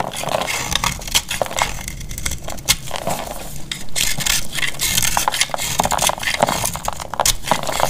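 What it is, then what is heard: Dry bar soap, crumbly. A solid rectangular cream-coloured bar of dried soap, held in the hand, is cut and scraped with a metal utility-knife blade, breaking into crumbly flakes. Dense dry crackling and crunching scrapes run continuously with many sharp clicks and a bright, gritty top end, sounding crisp and brittle rather than smooth.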